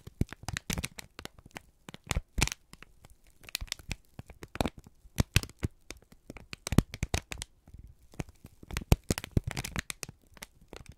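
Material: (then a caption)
Paper. A thin, wrinkled strip of brown kraft paper is squeezed and crinkled by both hands, with the thumbs pressing into it. The result is a dense run of sharp, dry crackles and crinkles in irregular bursts, with quiet gaps between clusters.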